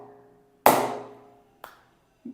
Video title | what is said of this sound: Leather Bat - Hard Tennis - Soft Tennis - Best Bat Under 2500 - TRB - Order Directly 9888949778 | आवाज से पता चलेगा कि यह बैट आपके लिए उपयुक्त है या नहीं। यह बहुत ही शानदार है।